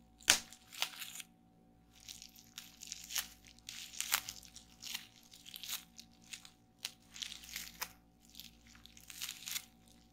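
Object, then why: Plastic bubble wrap sheet. Fingertips press down on a flat sheet of clear plastic bubble wrap lying on a table, popping the bubbles one after another. Sharp, bright snaps mix with soft crinkling of the plastic across the clip, with the loudest pop near the start. The sound is quiet and almost entirely high-pitched, and each pop dies away quickly.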